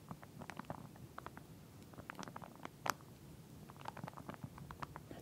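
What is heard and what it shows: Long nails scratch and tap along the teeth of a pink plastic comb lying flat inside a clear plastic sleeve. The result is a quiet, irregular series of short, dry plastic clicks and crinkly scratches that stop without ringing, over a soft low rumble.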